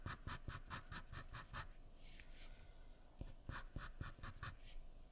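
A graphite pencil is scratched across a sheet of white drawing paper lying flat on a wooden surface in continuous drawing strokes. Quiet, dry, rhythmic scratches with a bright hiss come first, then a longer smooth sweep, then another run of short strokes.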